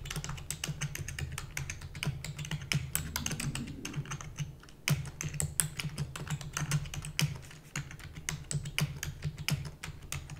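Fingertips and long natural nails type rapidly on a full-size black plastic computer keyboard with plastic keys and a hollow housing. Dense, bright clicking clatter runs steadily over a low constant hum, with a brief lull just before the five-second mark. The keystrokes are short and dry, dying away almost instantly.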